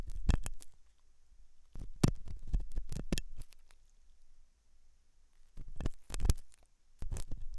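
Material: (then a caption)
Silicone. A hooked metal dental tool scratches inside the ear canal of a white translucent silicone ear model made of soft solid rubber, likely mounted on a binaural ear microphone. Bursts of close, low rumbling scrapes and crackles come in uneven clusters, with quieter gaps between them.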